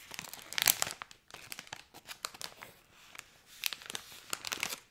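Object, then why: Thin plastic foil bag filled with candy. A medium-size Cadbury Creme Egg Twisted bag of thin plastic foil, filled with candy, is held in both hands and crinkled and squeezed with fingertips and painted nails. Sharp, bright crackles come in uneven bursts with brief quieter gaps, and almost no low end.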